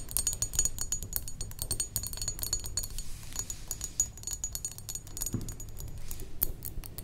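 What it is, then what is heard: Glass perfume bottle. A medium rectangular thick-glass perfume bottle, partly filled with liquid, is tapped rapidly with long acrylic nails. The result is a dense run of sharp, bright clicks and glassy clinks with very short decay over a low, soft background rumble.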